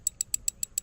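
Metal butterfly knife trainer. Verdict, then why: Loose. The old version of a metal Vulp butterfly knife trainer is flipped, producing six evenly spaced, sharp, bright clicks with a high metallic ring. The clicking and tapping rattle while flipping is a flaw in this old version that the new version fixes.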